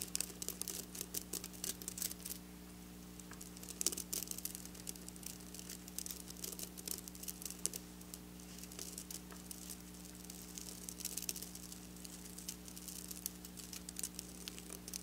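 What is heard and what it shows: Long black nails scratch along the rows of a large, flat piece of fabric densely covered in silver and lilac plastic sequins. The result is a continuous, bright, crinkly patter of tiny rapid clicks that swells and thins in bursts over a steady low hum.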